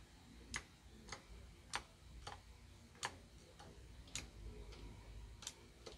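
Fingertips press individual keys one by one on a small white plastic Royal Kludge RK61 RGB wireless mechanical keyboard, lighting them up. Ten sharp, bright key clicks ring out at a steady, unhurried pace, each decaying almost instantly. A faint low rumble sits underneath.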